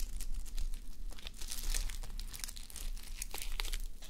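Fingertips and long nails scratch and rub the plastic flip sequins of a fabric sleep mask resting on a mannequin head. The result is a steady stream of bright, crinkly scraping and quick clicks over a low, constant rumble.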